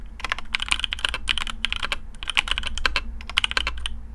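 Fingertips of both hands type quickly on a black AARU custom mechanical keyboard with TTC Speed Silver switches, PBT plastic keycaps, a carbon fibre plate and a hollow case. It produces a dense stream of short, crisp, bright clacks that stop instantly, over a steady low hum underneath.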